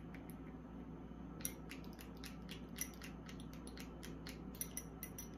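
Long acrylic nails tap a small amber glass serum bottle with a dropper cap, filled with liquid and held in the hand, striking both the glass and the cap. The result is a quick run of light, bright clicks and ticks with very short ring, a few sharper than the rest, over a steady low hum.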